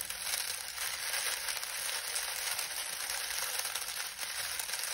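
Fingertips knead and crush a pile of dry lemon balm leaves. A steady, dense crackling rustle fills the clip, bright and papery with almost no low end, and holds an even level throughout.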